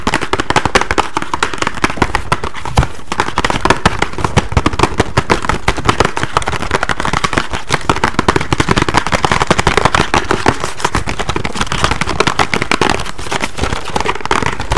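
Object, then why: Small cardboard box. A small, hollow, printed pink and green cardboard box is held in one hand and tapped and scratched fast with fingertips and nails. The result is a dense, nonstop stream of quick, dry crackling taps with hollow low thuds and scratchy bright edges, steady in loudness for the whole clip.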